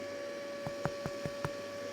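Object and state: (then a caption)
Hollow-sounding soda bread loaf. The underside of a soda bread loaf, just tipped out of a Remoska campervan oven, is tapped five times, giving soft, dull, hollow-sounding knocks over a steady background hum. It sounds fairly hollow, the usual sign of being baked through, but when cut open it seemed still a little raw inside and went back in for a few more minutes.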